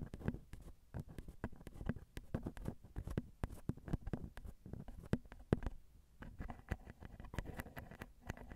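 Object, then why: Metal microphone capsule grilles. Two long glittery nails tap and scratch the grilles of the crossed silver metal X/Y microphone capsules on a Zoom recorder, small and hollow. It makes a quiet, steady run of short, dull, low-heavy taps close to the mics, with soft scratching between them. There is a brief pause near the middle before the tapping picks up again.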